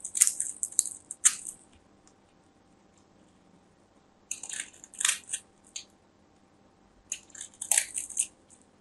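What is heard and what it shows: A small craft knife scrapes and carves the surface of a solid, palm-sized orange bar of soap held in fingers with long white nails, sending shavings falling off. Three bursts of crisp, bright scratching are heard, separated by quiet pauses, with no low rumble.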